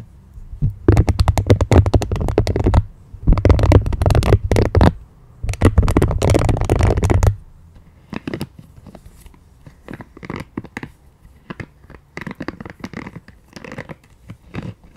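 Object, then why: Silicone scalp massager brush. Long nails scratch and tap the soft spikes of a pink silicone scalp massager brush, its bristle side facing up. Three dense bursts of muffled, low scratching run through the first seven seconds. Sparser, quieter taps and scrapes follow to the end.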